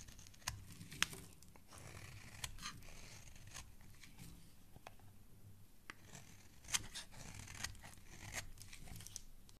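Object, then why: Bar of soap shaved by a thin blade. A solid yellow bar of soap, held in fingers with dark nails, is scraped and shaved into curls with a snap-off utility knife blade. Soft, bright scraping and crisp crunchy shaving sounds run throughout, broken by sharp high clicks and small snaps as the blade bites into the surface.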